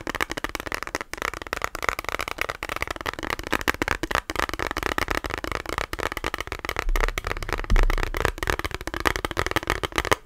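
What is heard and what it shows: Fingernails tap rapidly on a small rectangular plastic eyeshadow palette with a clear lid and a hollow case. The result is a dense, continuous stream of sharp, dry clicks with a faint hollow body, with slightly louder taps around the eight-second mark.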